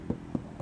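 Three knocks on a car's sheet metal body panel fitted with a sound-deadening mat give dull, low-pitched thuds centered around 240 Hz. Each dies away almost instantly with no metallic ring. The treated panel sounds damped and different from an untreated section.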